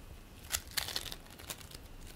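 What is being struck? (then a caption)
Bead play foam lump. Both hands squeeze and knead a large purple lump of play foam made of polystyrene beads, while a green foam lump lies nearby untouched. The foam gives bright, crinkly crackles, with several sharp bursts over a faint hiss.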